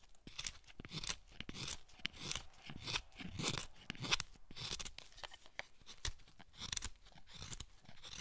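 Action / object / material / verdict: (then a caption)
scrape / hinoki cypress wood block and steel chisel / hinoki wood / none. A solid pale hinoki cypress block, held in the hand, is cut with a wooden-handled steel chisel. Short cutting and scraping strokes bite into the wood in a loose, uneven rhythm. Each stroke gives a crisp, dry, bright crunch with a soft low thump, and nothing rings on after it.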